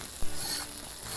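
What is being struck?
Nothing is struck.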